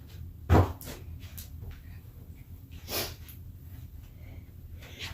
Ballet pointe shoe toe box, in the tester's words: they have a hard toe box. You can hear that when I knock on them.